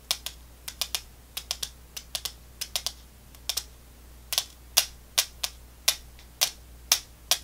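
A small clear plastic tube with a white cap, filled with round candy balls, is held in one hand and tapped quickly with long fingernails. About two dozen sharp, bright clicks come in an uneven rhythm, each dying away almost instantly over a faint low hum.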